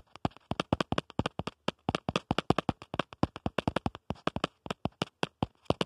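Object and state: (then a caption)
Plastic phone case tapped. Fingertips rapidly tap and scratch the back of a smartphone in a black plastic protective case, producing 43 quick, dry clicks in an irregular rhythm over about six seconds. Each tap is short with almost no ring, carrying a low thump under a bright, crisp click.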